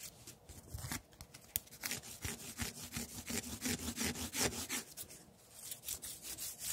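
A long, thin, solid wooden tree branch with bark is held in one hand while the other hand grips and rubs along it, scraping and peeling off the bark. The sound is a quick run of short, rough, bright scraping strokes at a fairly steady rhythm, each dying away almost instantly. It eases off briefly near the end before the rubbing picks up again.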